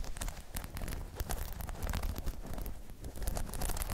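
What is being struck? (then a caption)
Spiky rubber half-dome balance pod. Long chrome nails tap and scratch across a hollow, spiky rubber half-dome balance pod. The result is a dense run of soft, low thumps mixed with dry, crackly scratching and rustling, with short hits that die away quickly.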